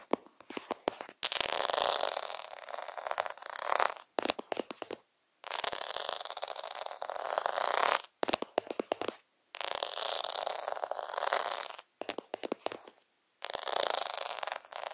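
Fingertips and nails scratch across rows of small plastic half-pearls on a faux pearl sticker sheet, producing bursts of dense, bright scratching. Between the bursts come quick clicks and taps against the beads, with short silences separating the passes.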